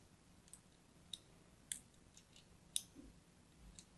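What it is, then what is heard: Bar of soap being scored. A thin blade scores a crosshatch pattern into a solid pink-and-white striped bar of soap held in the hand. It makes seven crisp, bright clicks at an uneven pace, each dying away almost at once over a quiet background.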